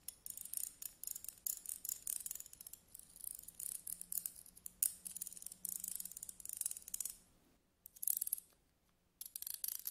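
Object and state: Metal tweezers.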